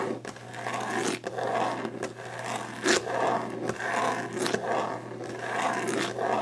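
Long painted nails scrape and scratch quickly across a solid, glossy varnished wooden desk top, making rough, rasping strokes in the mid range with brighter, hissy edges. Sharp taps and clicks cut through the scratching every second or so, over a faint steady low hum.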